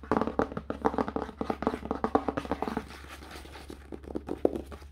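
Fingertips rapidly tap and rub the red paper endpaper glued over the cardboard inside cover of an open hardcover book. Quick, dull mid-range taps come in bursts, easing into a softer stretch of rubbing before a few more taps, over a steady low hum.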